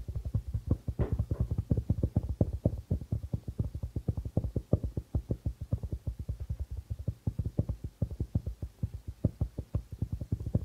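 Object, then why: Darbuka drum with plastic head. A hollow darbuka drum with a white plastic membrane is tapped quickly with the fingertips and nails of both hands. The result is a dense, steady stream of short, dry, low thumps centered around 100 Hz, each dying away almost instantly, with a faint brighter tick on some strokes.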